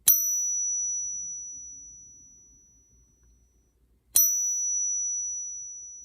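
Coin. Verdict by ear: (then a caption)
Fake. A coin from a hoard that only weakly clings to a magnet is pinged with a pocket pinger, and the ring does not match the expected frequencies, so it is judged fake rather than genuine silver. Two sharp pings are heard, each a bright, high, pure tone that slowly fades over a couple of seconds.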